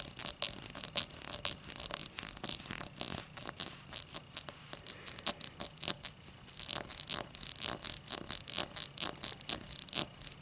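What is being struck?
Cut crystal glass base.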